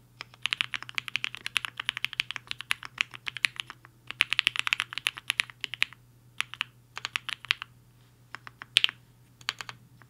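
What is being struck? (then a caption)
Mechanical keyboard with plastic keycaps. Fingertips of both hands type fast on a compact mechanical keyboard with a black case and white and pink plastic keycaps, resting on a desk mat. Rapid runs of crisp, bright, clacky keystrokes die away almost instantly, broken by brief pauses, over a faint steady low hum.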